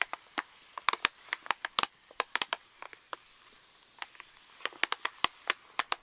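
Fingertips and nails tap, scratch and crinkle a pink Reese's pouch made of plastic foil laminate lying on a table. About two dozen sharp, dry crackles and clicks come in uneven bursts over a soft hiss. The sound is bright and crisp, with no low end and almost no ring after each hit.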